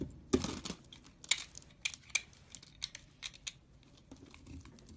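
A knife shaves dry flakes off a beige soap bar onto a pile. Crisp, bright scraping and crinkling bursts come in an irregular rhythm, with a fuller, heavier scrape near the start and softer rustles toward the end.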